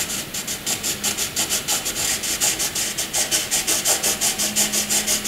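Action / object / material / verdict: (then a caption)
scrape / graphite pencil on paper / graphite / none. A wooden graphite pencil draws horizontal hatching on white paper, its tip scratching back and forth in about 25 quick, even strokes. Each stroke makes a dry, bright, hissing scratch with almost no low end, in a steady rhythm.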